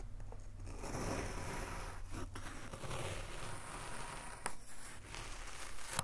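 A gloved hand draws a thin metal knife blade down through a solid rectangular block of brown kinetic sand, molded from a box and resting on a dark table, cutting and scraping off thin slabs. The sound is a soft, steady, gritty tearing and crumbling hiss with a low rumble underneath, and a few brief sharper scrapes near the end.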